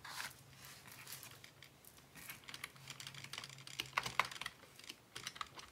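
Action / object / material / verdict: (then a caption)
tap / plastic computer keyboard / plastic / none. Fingertips type on a black plastic Dell desktop keyboard resting on a wooden desk, producing a quick run of light, bright clicks with little low end. The typing has a brief pause where one hand rests on papers, then a few sharper keystrokes stand out before it trails off.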